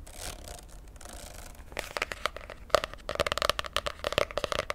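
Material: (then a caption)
Laminated cardboard. Long fingernails scratch and tap the glossy laminated cardboard cover of a popsicle-print spiral notebook held in one hand. A soft, bright scraping rustle fills the first couple of seconds. It gives way to quick, crisp clicking taps with a faint hollow tone around 600 Hz.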